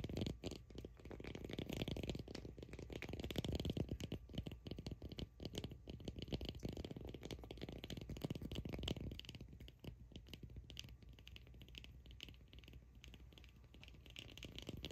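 A solid cork ball is gripped in both hands while long acrylic nails scratch across it, producing dense, close-up scratching and gripping textures with a low, rumbly body. The scratching stays busy and fairly loud for about the first ten seconds, then settles into a quieter, sparser rustle.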